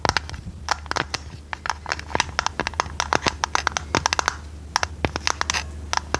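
Long red nails tap and scratch a hollow printed purple tinplate tea canister with its lid on, making a quick, irregular run of sharp, bright clicks with a metallic tone near 900 Hz. Soft scraping fills the gaps, and a steady low hum runs underneath. Each tap dies away almost at once.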